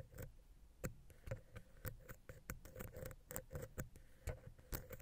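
A wooden ear pick, held vertically, scratches and taps down into the gap between the capsules of the silver metal X/Y microphone head on a Zoom H6. The result is a rapid, irregular run of close, dull, bass-heavy taps and scratchy rubs, each dying away almost at once, with a faint steady hum underneath.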